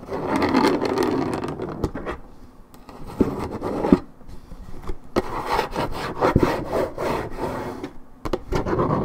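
Long red nails scratch the top surface of a hollow, coated-paperboard Minute Maid orange juice carton. The result is a steady, dry rasping and rubbing, mostly low-mid in tone, broken by brief pauses and a few sharp ticks as the nails catch.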